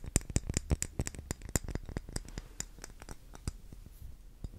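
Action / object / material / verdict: tap / wax pillar candle / wax / none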